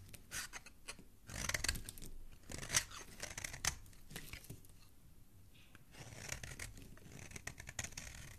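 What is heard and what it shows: A solid orange bar soap, held in the fingers, is scraped and carved with a metal utility blade, sending fine shavings and crumbs onto a pile below. Bright, crisp scraping and crackly cutting strokes come in bursts, with the sharpest cuts early on. Softer, steadier scraping follows toward the end.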